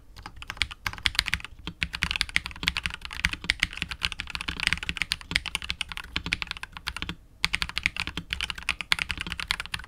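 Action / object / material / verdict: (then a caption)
tap / mechanical keyboard with plastic keycaps and plastic case / plastic / none. A KBD67 Lite R2 65% mechanical keyboard with KTT Wine Red switches, PBT keycaps and a hollow clear polycarbonate case is typed on continuously with the fingertips of both hands. Rapid, bright, short clacks run in steady bursts with brief pauses near 1.6 and 7.2 seconds, and each keystroke dies away almost instantly with only a faint low thump beneath.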